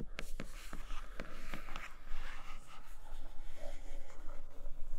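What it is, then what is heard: Cardboard box with plastic window. Fingernails gently tap and scratch on the flipped side of a flat grey Nomad cardboard box with a clear plastic window. Soft, quick taps click over a continuous scratchy rustle and a steady low hum, all at a quiet level.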